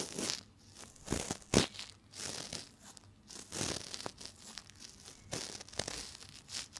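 A cotton swab, held by fingers with long nails, is rubbed inside the ear canal of a binaural microphone's silicone ear. It makes close, crinkly scratching and tearing sounds in uneven bursts. Sharper bright crackles stand out between softer rustling.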